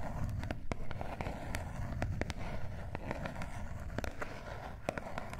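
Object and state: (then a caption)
Cardboard face mask box. Long nails tap and scratch the flat sides and edges of a small gold cardboard face mask box held in both hands. Quick, sharp clicks and dry scraping sit over a steady low, rumbly background.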